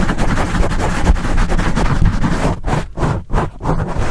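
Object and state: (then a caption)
Foam microphone windscreen being scratched. Fingertips and nails scratch quickly over the top and sides of a dark, porous black foam microphone windscreen. The result is a dense, continuous low rumbling scratch, with nearly all its energy in the low end. Toward the end it breaks into a few brief, uneven bursts.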